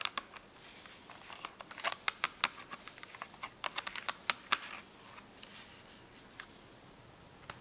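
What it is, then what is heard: Cardboard marker box. Long nails tap and scratch the top and edge of a small closed cardboard box of washable markers lying on paper. Sharp, bright clicks come in quick irregular bursts over a faint scratchy hiss, then thin out to a few scattered taps near the end.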